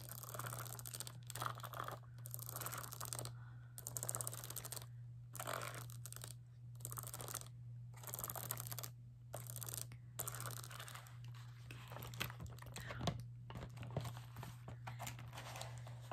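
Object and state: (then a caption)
Plastic case full of markers. A clear plastic carrying case packed full with rows of plastic felt-tip markers is held against the chest and tapped and scratched with long painted nails across the marker caps and the case. Rapid, crisp clicking taps and dry scratching come in bursts separated by short pauses, over a steady low hum.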